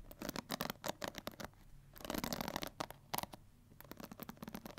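A pink plastic paddle hair brush, handheld size with a hollow cushioned head, black rubber cushion and plastic bristles, has its bristles scratched and strummed by long white-tipped nails. Quick, dry clicking and ticking patter comes in bursts with a brighter, denser scratching passage in the middle, each tick stopping almost instantly.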